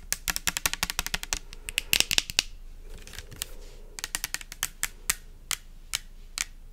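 Long nails tap fast on a pink translucent plastic pump soap bottle with liquid inside, making sharp, bright clicks. A rapid burst of taps is followed by a brief quieter stretch with a soft scratchy rustle, then the tapping returns in sparser, evenly spaced hits.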